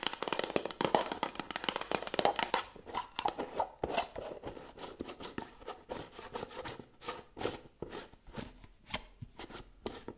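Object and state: Metal jar lid tapped and scratched with nails.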